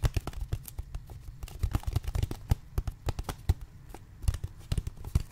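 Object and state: Plastic water bottle.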